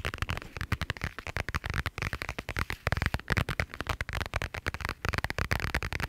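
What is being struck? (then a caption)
Thin plastic pouch. Fingernails tap and scratch the surface of a flat, iridescent holographic plastic pouch held in both hands. The result is a rapid, uneven series of short, dry clicks and crinkly scratches with a low thump under each tap and almost no ring.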